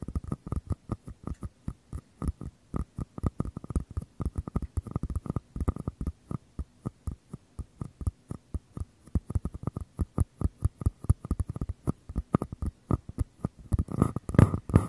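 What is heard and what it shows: Fingertips tap and scratch the outer walls of two identical small, empty, hollow paper cups held with their open mouths toward the microphone. The result is a steady run of dozens of quick, dull, hollow low thuds that die away almost instantly, with almost no bright content. Near the end the taps crowd together into a denser, louder scratching burst.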